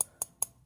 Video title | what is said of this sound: Aisle Drivers Orange, Purple and Blue- 2017, 2020, 2021 Hot Wheels Shopping Cart Ride-On Unboxings | Plastic. Sounds like metal because it's right on metal.